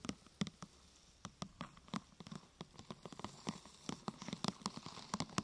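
Long nails tap a thin, glossy purple plastic sheet curved into a hollow half-tube, striking it from the side and from the top. About two dozen quiet, crisp clicks come in an irregular patter, each with a low hollow knock and a bright plastic tick that dies away almost instantly.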